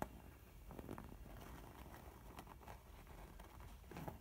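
A filled mint textured faux leather makeup pouch has its printed front scratched and tapped by long nails and squeezed by fingers. The result is a quiet, low-heavy rustling and scraping patter with several soft, short taps and crinkly squeezes throughout.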